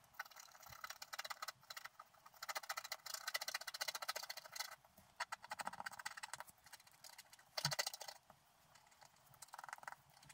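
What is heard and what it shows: A wooden stylus scratches lines into the black coating of a scratch art sheet, held flat by one hand, near its top edge. Quick, dry, bright scratching strokes come in bursts separated by short pauses, with almost no low end.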